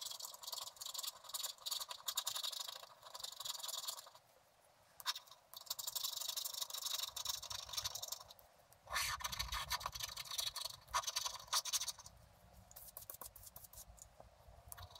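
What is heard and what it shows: A hand scratches a wooden stylus across the coating of a flat scratch-art card made of black wax-coated paper. Bursts of dry, bright scratching strokes come with short pauses between them, and the strokes grow softer and lighter toward the end.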